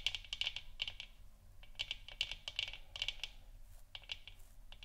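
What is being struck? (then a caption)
Plastic lamp sphere. Long nails tap and scratch along both sides of a hollow plastic moon lamp sphere resting on a wooden stand. The result is quick, bright clicky taps in irregular bursts with short scratchy strokes between them, each tap dying almost instantly over a faint low hum.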